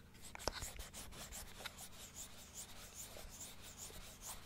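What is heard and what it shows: Long nails scratch along the inside surface and teeth of a large plastic dental model held open. Quiet, dry scraping and scratching strokes fill the clip, marked by a few brief sharp clicks over a steady low hum.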